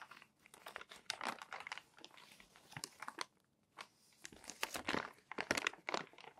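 Fingertips lift and turn the wrinkled pages of a crumpled, thin paper magazine. Quiet, dry crinkling and rustling come in clusters of short, bright crackles, with a brief near-silent pause in the middle. Each crackle stops almost at once, leaving no ring.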